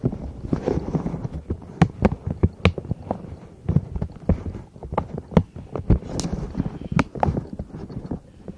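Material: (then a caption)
Silicone. Long nails tap and scratch across the hollow bubbles of a palm-sized pastel pink, purple and yellow silicone pop-it zipper pouch held above microphones. Quick, dull, hollow taps with short sharp clicks land in an uneven rhythm, mostly low in tone. Soft scratchy rustling fills the gaps between them.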